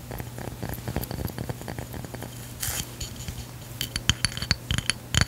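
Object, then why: Stone coaster with cork backing. A round stone or ceramic drink coaster with a cork back, held in the hand, is tapped and scratched with long pink fingernails. Quick, dry clicks mix with soft scraping over a steady low hum, and sharper ticks come toward the end. Each tap stops dead with no ring.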